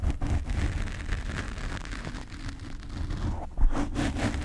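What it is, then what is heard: Foam microphone windscreen being scratched. Fingernails of both hands scratch the black foam cover on a desk microphone. A dense, continuous, muffled scratching rustle, heavy in low rumble, swells into a louder burst near the end.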